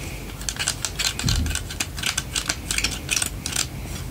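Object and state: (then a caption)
Plastic hairbrush tapped with nails. Long painted nails tap and scratch the open spiral frame and bristles of a lilac plastic vented detangling hairbrush held in one hand. The result is a rapid, uneven series of bright, crisp plastic clicks and scratchy ticks that die away almost instantly, over a faint low background hum.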